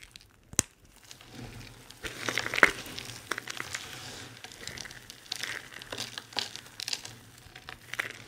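A pile of dry, crumbled soap shavings in solid small pieces is kneaded and crushed together between the palms and fingers. Dry, bright crinkling and crunching comes in continuous waves with little low end, with a sharp crackling snap near the start and a louder crunch a few seconds in. The grinding softens into scattered crackles and small crunches toward the end.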